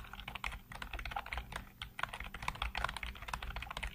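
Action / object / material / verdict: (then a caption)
tap / plastic computer keyboard / plastic / none. Fingertips type rapidly across a full-size black plastic computer keyboard with hollow keycaps. A dense, steady stream of short plastic clacks centered around 1 kHz, with bright highs, rides over a soft low thump from the key strokes. Each tap dies out almost instantly.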